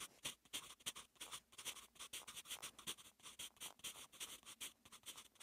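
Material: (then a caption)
Graphite, paper. A soft graphite pencil tip, held in the fingertips, writes strokes of Korean letters on one page of lined, textured notebook paper lying flat. Many quick, bright scratching strokes follow one another in a steady, uneven rhythm, with almost no low end. Each stroke stops dead with no ring.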